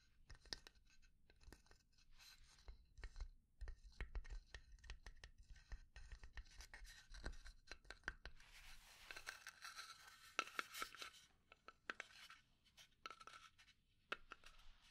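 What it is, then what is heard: Pine wood box. A small hollow pine box, held in the hand, is scratched and tapped with long nails. Quiet, dry, short taps sit over a soft low rumble, with bright, hissy scratching that thickens into a dense rasp around the middle of the clip. Each tap dies away almost instantly, with a faint woody tone near 1.3 kHz.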